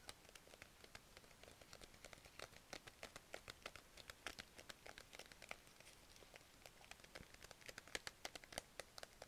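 A small clear plastic zip-lock pouch full of pastel plastic markers is held in both hands and crinkled and scratched with long nails. The result is a dense run of quiet, short, bright crinkles and ticks, with the pens shifting inside the pouch.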